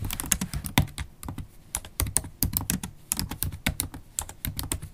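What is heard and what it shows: Typing on a MacBook Pro laptop keyboard, its low-profile black plastic keys set in a silver aluminum body, with long stiletto acrylic nails and fingertips. A rapid, uneven stream of short, dry key clicks with bright nail ticks over a soft low thump, each stroke dying away almost at once.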